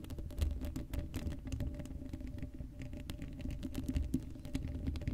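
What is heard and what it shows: Long blue acrylic nails on both hands scratch across the black woven metal mesh grille of a hollow Blue Yeti microphone head with no foam cover. The result is a dense, continuous patter of quick scratchy ticks and soft, low, boomy thumps, with a faint steady hum underneath. Each tick dies away almost instantly.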